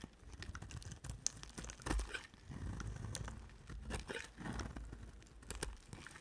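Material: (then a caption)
Soap. A solid cream-white soap bar with a red edge is shaved with a utility knife blade held by a hand with long black nails. Quiet, close scraping and crinkly tearing sounds with dull low thuds and brief bright clicks run throughout.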